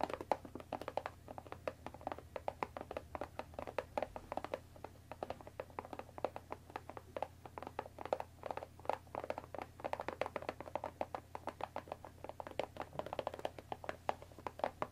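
Long dark nails tap rapidly on the top of a closed Earl Grey tea box of thin printed cardboard, about 20 cm long and likely full of tea bags, resting on a wooden table. The taps are quick, dry, hollow clicks centered in the midrange that die away almost instantly, over a faint steady low hum. They run in a dense, continuous patter of uneven loudness throughout.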